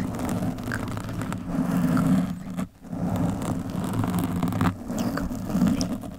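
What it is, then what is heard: Foam microphone windscreen being scratched. A black, soft, porous foam windscreen on a microphone is scratched and rubbed by long metallic nails with both hands. The result is a dense, continuous low rumbling scratch with brief dips near 2.7 and 4.7 seconds.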